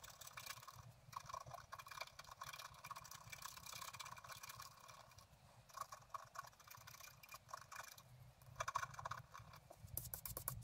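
A pointed wooden stylus scratches the upper blossoms of a flat, black-coated scratch art card resting on a table. It makes quiet, continuous, dry scraping with rapid short strokes, a bright hiss and a faint tone near 1 kHz. The scratching grows louder in bursts near the end.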